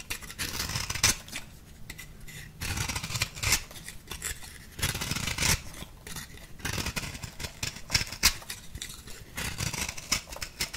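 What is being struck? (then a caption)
Compressed powder bath bomb. An orange-pink bath bomb, a ball of compressed powder held in the hand, has its surface scraped with a small metal blade. Repeated dry, crumbly scraping strokes come in bursts, bright and hissy with a faint low rumble beneath.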